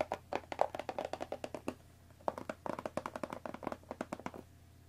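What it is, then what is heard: Cardboard tea box tapped with nails and fingertips. A hollow cardboard Earl Grey tea box holding tea bags, resting on a wooden table, is tapped on its top with long nails and then on its sides with fingertips. About 27 quick, dry, clicky taps with a hollow mid-range knock come in two bursts separated by a short pause. Each tap stops almost instantly.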